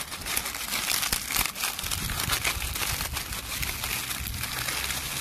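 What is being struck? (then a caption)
Leaves crushed by hand. A handful of dry brown leaves is crushed and crumpled between the fingers. It makes a dense, continuous crackle of bright, crisp crunching with no pauses, rising and falling slightly in loudness throughout.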